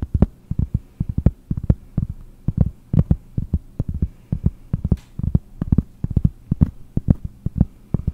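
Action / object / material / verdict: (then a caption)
tap / cork board disc / cork / none. Long nails tap a round, solid cork disc about 20 cm across in a quick, uneven stream of dozens of taps. Each tap is a dull, low, muffled thud that dies away instantly with no ring, over a faint low hum.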